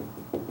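A knock on the upper section of a hollow-core wooden door gives a single dull, mid-pitched thud that dies away quickly. This part of the door is solid from that point up.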